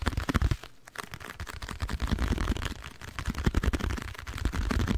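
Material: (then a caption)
Cardboard. Long nails tap rapidly on a small, hollow, printed blue cardboard box held in hands beside the microphone. The result is a dense run of short, dry, low thumping knocks with a faint bright tick on each tap, pausing briefly near the first second before continuing.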